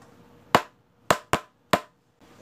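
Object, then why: Wooden pencil. A pencil is gently tapped in a one-two-one rhythm: four short, dry taps with a brief ring near 1 kHz, a single tap, then a quick pair, then a single tap again. A faint high-pitched sound starts just at the end.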